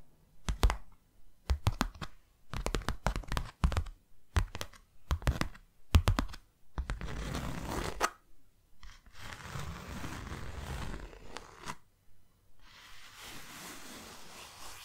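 Long nails tap a closed, hand-sized white cardboard box in quick, dry bursts, with low, hollow thuds that stop almost at once. Then they scratch steadily across its surface in a soft, continuous rasp broken by brief pauses.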